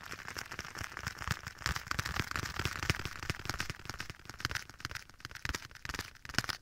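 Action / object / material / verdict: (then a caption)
tap / leather glove / leather / none. A black leather glove, worn on one hand and held against the right ear of a binaural microphone, is tapped and scratched by the bare fingertips of the other hand on its soft leather surface. A dense, irregular stream of crisp taps and crackling scratches comes through with sharp broadband snaps, spread out by an added echo effect.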